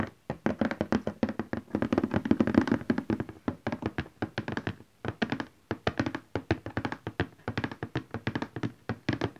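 Both hands tap rapidly on the top of a large printed cardboard box for a Canon printer lying flat, using fingertips and nails. A quick, irregular stream of dull, hollow thunks with a low-mid body dies away almost instantly, with only occasional brief pauses.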